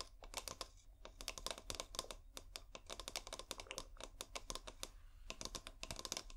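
A fingernail taps rapidly on a hollow, clear glass bulb-shaped bottle held upright, with fairy lights inside. The bursts of sharp, bright clicks are steady and uneven in loudness, and each tap dies away almost instantly with no ringing.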